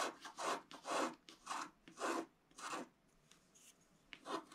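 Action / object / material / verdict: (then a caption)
scrape / coated paper scratch-art sheet scratched with a wooden stylus / coated paper / none. A wooden stylus tip scratches across a flat, thin coated scratch-art card resting on a table in continuous strokes. Each stroke makes a dry, raspy scrape with a bright, hissy edge, and the strokes come in an uneven rhythm with short quiet gaps between them. Toward the end, a few softer, lighter scratches come before one last firm stroke.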